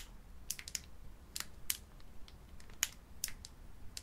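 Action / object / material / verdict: scrape / sealed metallic-foil card pack / metallic foil / none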